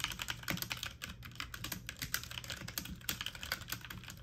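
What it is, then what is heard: Plastic mechanical keyboard being typed on. A full-size backlit mechanical computer keyboard with plastic keycaps is typed on rapidly with fingertips and medium-length nails. It produces a steady stream of bright, short plastic clicks and taps over a low hum.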